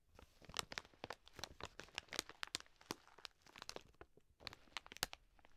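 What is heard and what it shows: The front of a full 2 kg plastic bag of dry green lentils, resting on one hand, is scratched and pressed with long nails. It makes quiet, bright, crisp crinkling with rapid crunchy clicks and rustles. The sharp, short bursts come in uneven clusters with little low end.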